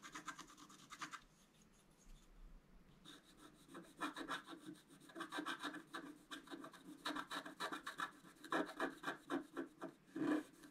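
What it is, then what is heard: Scratch-art card being scraped. A wooden stylus scrapes the black coating off a flat scratch-art card, about A4 in size, lying on a table, using a rubbing motion. Dry, rasping strokes repeat in irregular bursts with bright, gritty texture. After a quieter pause, the strokes grow denser and louder toward the end.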